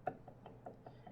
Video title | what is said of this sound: Stamping & Carving | that's a really stiff leather hard perfect for carving not for stamping